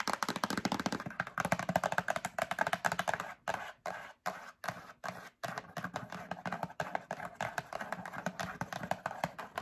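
Long acrylic nails rapidly tap a medium printed cardboard Breakfast Essentials box held up in the hand. The taps are quick, dry and hollow, with a papery midrange knock that dies away almost instantly. The steady rattle is broken by a few brief pauses just before the midpoint, then resumes.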